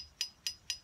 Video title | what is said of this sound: Ms. Hannah Makes Sounds with Jars | that's higher so that's a different sound the different amounts of water have given them different sounds